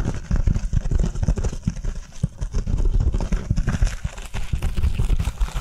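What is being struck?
Foam kitchen sponge.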